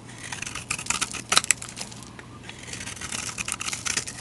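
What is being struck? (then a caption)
Bar soap. A utility knife blade shaves crumbly flakes off a solid rectangular white bar of soap with a yellow rim, held in a hand with long dark nails. Dense, bright, crisp scratching and crackling scrapes run throughout, with a louder cluster of sharp shaves partway through over a faint low hum.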